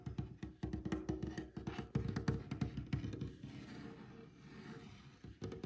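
Fingertips of one hand tap quickly and unevenly across a large, solid, light, glossy varnished wooden tabletop. The taps are dull, low-pitched knocks that die away almost at once. After a burst of sharp taps, the sound settles into a softer, more continuous patter before a few crisp taps return at the end.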